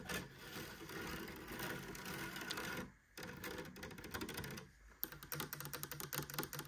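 Long nails scratch and tap the woven rattan cane mesh of light wood-framed doors on a hollow cabinet. A dense, steady rasping scratch fills the first five seconds, broken by two short pauses. It ends in a quick run of bright, dry taps.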